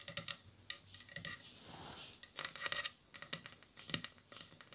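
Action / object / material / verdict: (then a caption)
tap / wooden bowl and spoon / wood / none. A wooden bowl and a wooden spoon are tapped together in a quick, irregular series of light, dry clicks with almost no ring. The clicks are bright and high-pitched, with a soft scraping swish in between.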